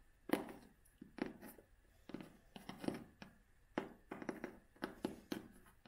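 Long fingernails tap and scratch the cloth cover of a vintage hardcover book held in both hands. Soft, dull taps come in uneven clusters, each short and muffled with a brief bright edge and little ring. Faint scratchy brushing fills the gaps between them.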